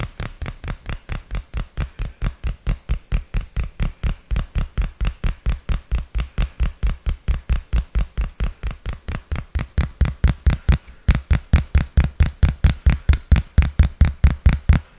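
A dark smartphone with a glass back is held in both hands close to the mic and tapped and scratched on its back and edges with fingertips and nails. About 65 short, dull, low-pitched taps come in a quick, fairly steady rhythm with a faint bright scratchy edge and almost no ring. The taps grow somewhat louder in the last few seconds.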